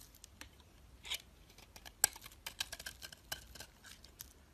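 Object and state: Bar soap being shaved.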